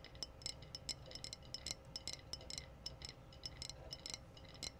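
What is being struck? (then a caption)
Glass wine bottle. Long blue-painted nails tap the rounded body of a clear glass wine bottle with a metallic red screw cap, held up and apparently empty and hollow. Quick, bright, high glassy clicks and clinks come in an uneven, rapid series, each dying away almost instantly, over a faint low rumble.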